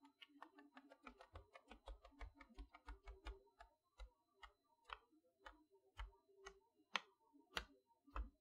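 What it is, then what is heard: Cardboard toy box with plastic window. Long nails tap in a ticking rhythm on the plastic window front of a boxed chalkboard toy set made of cardboard with a plastic window. Each tap is a short, dry click with a bright edge and a soft low thump. The taps come quickly at first, then spread out at an uneven pace, with a few louder ones near the end.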